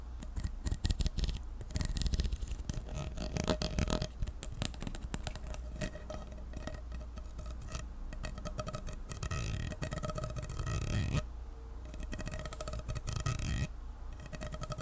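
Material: Plastic.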